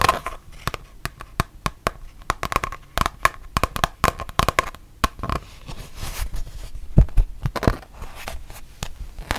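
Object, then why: Rubber-backed fabric mouse pad. Long painted nails tap and scratch a thin, solid printed mouse pad with a rubber-backed fabric surface, first while it is bent and then while it is held flat. Dozens of short, dry, thumpy taps stand apart, mixed with rough, crinkly scratching, and a faint steady tone hums under the first half.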